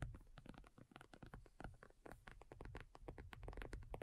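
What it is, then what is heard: Faux leather tablet cover. A black folding faux leather iPad cover, thin and hollow-backed, lies flat and is tapped with long nails by both hands. It makes a quiet, rapid, continuous patter of short, dull, hollow taps with low thuds and faint brief clicks.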